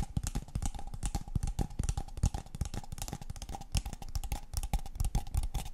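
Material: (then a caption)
Paper. A tall, empty, hollow brown kraft paper cup is held in the hands and tapped rapidly with long painted fingernails on its walls and rim. The result is a dense, continuous patter of short, dry taps: deep hollow thumps carry most of the energy, with light, bright clicks on top. A faint steady tone sits underneath throughout.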